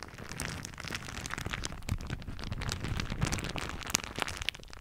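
A thin floral plastic shower cap is crumpled with both hands over the top of a microphone, stretched back over it, and crinkled with the fingers. The result is a continuous, dense crackle of sharp, bright crinkles over a low, rumbling handling noise, with a few louder snaps standing out.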